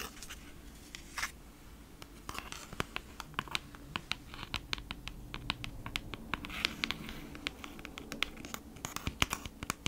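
Long acrylic nails scratch across the printed back of a flat kraft-cardboard beeswax-wrap package held close to the microphone. The clip is a steady run of quick, dry, bright scratches and taps over a faint low hum, each stroke stopping abruptly with almost no ring.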